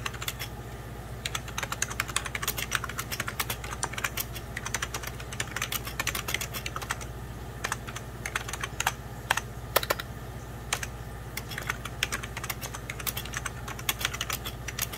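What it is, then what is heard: Plastic computer keyboard. Fingertips of both hands type steadily on a hollow, beige 1990s Packard Bell plastic computer keyboard. Dense, quick key taps click brightly over a steady low hum, each tap dying away almost instantly.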